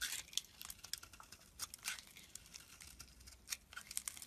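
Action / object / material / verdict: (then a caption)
scrape / bar of soap cut with a metal blade / soap / none. A palm-sized solid green bar of soap, held in the hand, is carved into chips and slivers with a metal blade. The result is a quiet, rapid run of crisp, crunchy scraping and flaking sounds, bright and high with almost no low end. Each cut is short and dry, with no ring.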